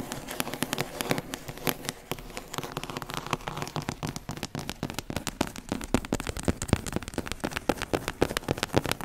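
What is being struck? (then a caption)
Cloth-bound hardcover book. A large, thick hardcover book of collected complete novels, with a printed cloth- or paper-covered board cover, is held upright in one hand while long acrylic nails tap and scratch its front cover. The result is a rapid, dense stream of short, dry clicks with a bright crackling edge and a faint low thump, each dying away almost instantly.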